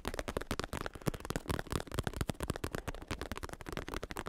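A black padded bicycle saddle with a smooth synthetic leather cover and red trim, padded top over a plastic shell, is held close in one hand while fingertips rapidly tap and scratch the cover. The result is a dense stream of soft, dull, low-heavy taps and brief scratchy rustles that die away almost instantly.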